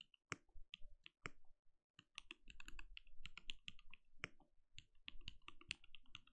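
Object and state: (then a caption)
Mechanical keyboard with plastic keycaps. A compact RGB-lit mechanical keyboard with a translucent plastic case and plastic keycaps sits on a desk and is typed on steadily with the bare fingertips of both hands. The result is a quiet, fast run of short, crisp clacks with a bright top and a soft low thud under each keystroke. After a brief pause early on, the keystrokes pick up into a dense, uneven patter.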